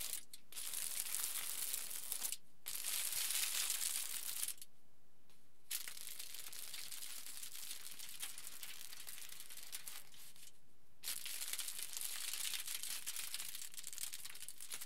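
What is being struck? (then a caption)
Aluminium foil sheet. A crumpled sheet of aluminium foil lying flat is pinched and scrunched by fingers on both sides. It gives off dense, bright crinkling and crackling in steady bursts, broken by brief pauses near 2.5 seconds and between about 4.5 and 5.7 and 10 and 11 seconds. The crinkling resumes after each pause, and no voice is heard.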